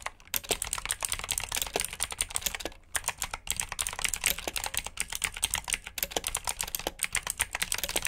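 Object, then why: Plastic mechanical keyboard. Both hands type with their fingertips on a black plastic backlit mechanical keyboard with blue switches. The result is a fast, steady stream of bright, crisp clicks with very short decay, pausing briefly a few times.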